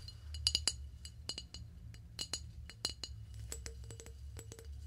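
A flower vase is tapped in a quick, irregular series of light, bright clinks, each ringing high and dying away almost at once. The taps come in small clusters over a steady low hum.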